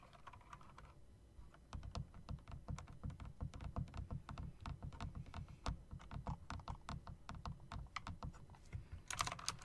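Fingers tap the keys and long spacebar of a typewriter-style mechanical keyboard with round plastic keycaps and metal rims, producing a steady run of short, sharp clicks with a thumpy low body. The typing pauses briefly near the start and ends with a brighter, louder clack.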